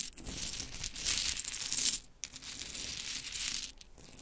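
Long chrome nails scratch and rake through a pile of pink wooden mini clothespins, making bright, dense clacking and rustling as the small pieces knock together. The sound is mostly high-pitched with little low end, dips briefly near the middle, then continues at a steady level.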